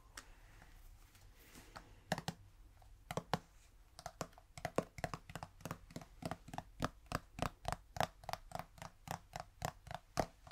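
Fingers tap on a plastic udder balm tin, producing about thirty short, dry, hollow clicks with a faint tone near 660 Hz and no ring. The taps start sparse and irregular, then settle into a steady, quicker rhythm after about four seconds, over a quiet low background hum.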